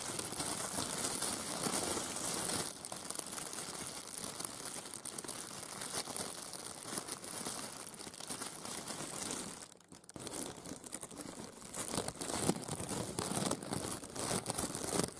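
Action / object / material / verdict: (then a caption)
scrape / thin plastic film shower cap / plastic film / none. Bare fingertips with short nails crinkle and scrunch a thin, clear plastic shower cap with yellow dots, a soft hollow film. A dense, steady, bright crinkling rustle runs throughout, dipping briefly to near silence around ten seconds before resuming just as loud, leaving the film crumpled.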